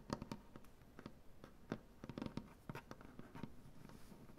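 Both hands tap and scratch a large solid maple butcher-block tabletop with painted nails. The result is a quiet run of short, dry wooden taps mixed with soft scratching. Each tap dies away almost at once.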